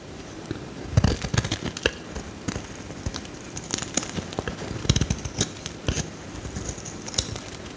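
A metal utility knife blade scores a solid bright green bar of soap held in the hand and scrapes off shavings. Short, dry crackling scrapes and crisp clicks come in irregular bursts, each dying away at once, with bright edges over a soft low rustle.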